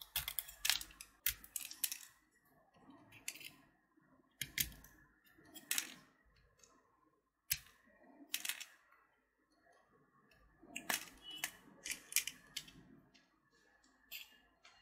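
A small, solid purple candy-coated chocolate button (Gems), held between the fingertips, is scraped with the blade of a utility knife, shaving off chips of shell and chocolate. Short, crisp, bright scratching strokes come in quick clusters separated by quiet pauses, with little low-end weight.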